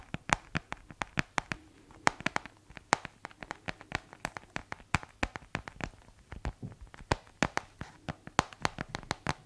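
A white plastic keyboard case is held tilted while fingertips type on and tap its keys. About 43 short, dry clicks and taps follow in an irregular rapid stream, each ending almost instantly, with a bright, crisp edge over a faint low hum.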